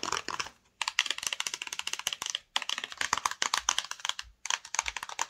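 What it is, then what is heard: Hollow cardboard box. Long nails tap quickly on the front and top of a flat, hollow black and yellow cardboard screen protector box. The result is rapid, dry, bright clicks with almost no ring, coming in four fast bursts separated by brief silences.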